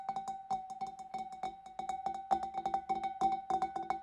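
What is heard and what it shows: Fingernails on a hand inside the opening of a large, empty, hollow clear glass fish bowl tap its inner wall in a quick, uneven series of light clicks. Each tap brings out a clear, steady ring near 780 Hz with a bright edge, and each one fades almost at once.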